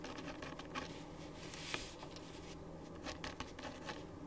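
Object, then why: Ballpoint pen on a thin paper sheet over a wooden desk. A ballpoint pen writes on a thin printed paper sheet lying flat on a wooden desk, making continuous scratching strokes. The quiet, dry scratching comes in short bright bursts over a low steady background, with a few sharper strokes standing out.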